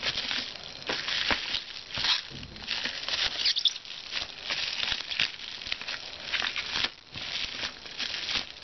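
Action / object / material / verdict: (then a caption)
scrape / plastic padded bubble mailer envelope / plastic / none. Fingertips tap and scratch the surface of a flat, hollow, white plastic padded bubble mailer, likely with a book inside, lying on a desk. The result is a dense, steady stream of bright crinkling and scratchy rustles with a brief quieter lull near the seventh second.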